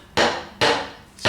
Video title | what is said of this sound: STONE PATIO INSTALLATION (Part 7) point up (Mike Haduck) | a little different sound. If you hear that's a little bit loose, but it's not wobbly